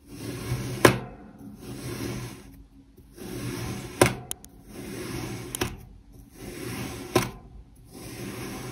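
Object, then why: Kinetic sand block cut with a metal knife. A metal knife blade slices down again and again through a solid, palm-sized pink heart-shaped block of molded kinetic sand on a white surface, cutting it into thin slices. Six gritty, hissing scrapes swell and fade, separated by brief quiet gaps. Several end in a sharp, bright click as the blade meets the surface below.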